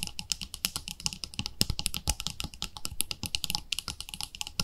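Long nails tap rapidly on the lid and side wall of a round, palm-sized white plastic cream jar with a pink label. The result is a dense run of short, dry clicks with almost no ring, bright and crisp on top over a light low thump.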